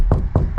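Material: Steel.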